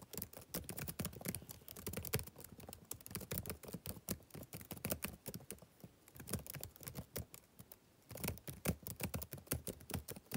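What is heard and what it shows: Fingertips type rapidly on the plastic keys of a backlit laptop keyboard, producing a steady stream of short, dry clicks and taps with a soft low thud under bright clicky tops. The typing eases briefly near the end, then picks back up.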